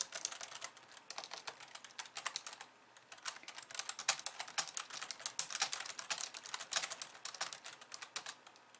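Long polished nails type rapidly with both hands on a compact pink and white plastic computer keyboard resting on a wooden desk. A dense stream of bright, sharp plastic clicks sounds out, each dying away almost instantly, with a brief lull around three seconds before the quick typing resumes.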